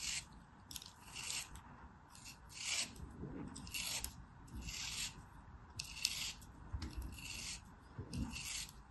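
A small, solid molded block of beige kinetic sand, held in the hand, is carved and scraped with a black craft knife, and the sand crumbles away. Repeated bright, raspy scraping strokes come at an uneven pace, each a high, gritty hiss over soft low crumbling thuds.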